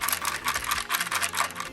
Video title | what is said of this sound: Talking About MORE Ben 10 Omnitrix Toys For Some Reason | If I shake it, rattling can be heard. Clearly, there are some loose parts in it.